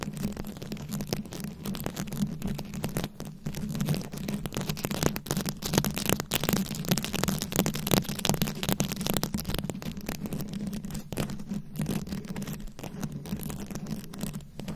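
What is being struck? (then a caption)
Microphone head covered in small plastic rhinestones. A fist-sized microphone head fully covered in small round rhinestones, likely plastic, is held close and scratched and tapped with very long acrylic nails. The result is a dense, continuous stream of quick clicking taps and crackly scratching. A steady low hum sits underneath throughout.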